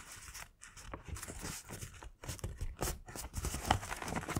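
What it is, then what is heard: Kraft paper bag. Fingertips press and run along the folded-over top flap of a thin, hollow, yellow-printed Winnie the Pooh kraft paper gift bag, creasing and rubbing the paper. The result is a steady run of soft, dry crinkling and scratchy rustles with low thumps and brief bright crackles, broken by short quiet gaps.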